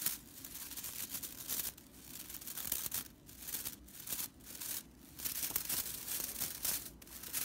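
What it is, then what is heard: Straw whisk broom bristles. Long purple nails and fingertips scratch and flick the bristle ends of a small whisk broom made of dry natural broomcorn straw, tied with red stitching and lying on a wooden table. The result is a bright, dry, crackling rattle of rustling bristles, coming in dense bursts separated by brief quieter pauses.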